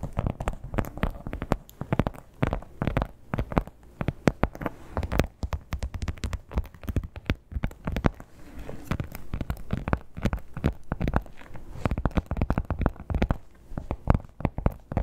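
Long black-tipped nails tap and scratch the textured top of a red crocodile-embossed leather clutch. Dense, rapid, dull taps mixed with soft scratching run throughout, heavy in the low end with almost no bright content and each hit dying away almost at once.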